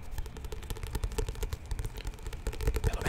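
A medium paperback book with an illustrated glossy card cover, solid and held in both hands, is tapped and scratched by fingertips and nails. Quick, soft, dull taps blend with light scratching in a steady stream, mostly low and muffled, with faint high brushing and almost no ring.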